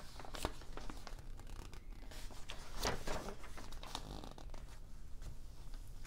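Fingertips grip and flip the thin coated pages of an open glossy fashion magazine held on a table, with other magazines lying nearby. The pages give a steady, crisp rustle with brief papery slaps as they turn, and one louder, brighter sweep of paper near the middle.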